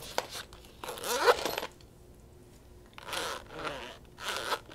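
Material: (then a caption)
Faux leather. A small round pink faux-leather case with a gold zipper is held in the hands and tapped and scratched on its lid and sides with long acrylic nails. Quick bursts of crisp scratching and tapping, separated by short pauses, give a dry, bright sound with no ring.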